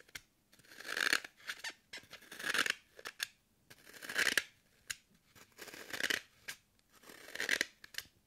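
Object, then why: Green floral foam block. Long curved nails puncture and scratch a solid, hand-held green floral foam brick with a pocked surface. About five drawn-out, squeaky crunching scrapes swell and cut off, with brief dry clicks and pokes between them. The sound is bright and dry, with a squeaky tone near 1.6 kHz and no low rumble.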